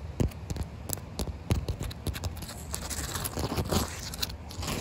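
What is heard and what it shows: Fingertips and long white nails tap and scratch a large solid wet concrete slab covered with thin puddles of water. Many short, dull taps with a low thud mix with bright, gritty scratching and crackling, and the water may add faint splashy sounds throughout.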